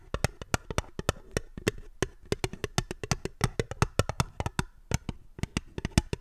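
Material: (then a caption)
Aluminium. A small, empty, fluted aluminium tin (a hollow ribbed mini mold or cup) is held upside down in one hand and tapped rapidly with long manicured fingernails. About 37 quick, dry, clicky taps come in an uneven rhythm, each with a hollow low thump and a bright tick that dies away almost instantly. The result is a steady, quiet patter with no ringing.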